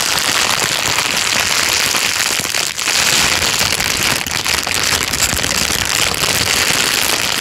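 A thin, clear plastic bag is crinkled by hand and then pressed flat with the fingers. It makes a dense, steady, bright crackling rustle that fills the whole clip, with a brief dip just before the three-second mark.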